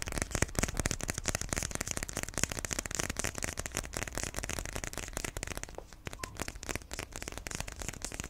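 Fingertips and nails tap and scratch a closed iPhone XR retail box, a small rectangular box of white printed paperboard held in both hands and apparently still sealed with the phone inside. The result is a dense, steady stream of quick, dry taps and crisp scratching with a slight lull near the six-second mark.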